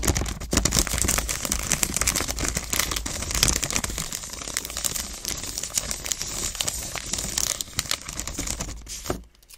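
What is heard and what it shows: A full-size solid chocolate bar, still sealed in its shiny purple plastic wrapper, lies flat on a table as long acrylic nails tap and scratch quickly along it. The result is a dense, continuous crinkling and crackling with bright, hissy highs and rapid overlapping taps. It fades out near the end.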